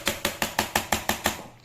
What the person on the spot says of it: Ito yung plastic, so iba ang tunog.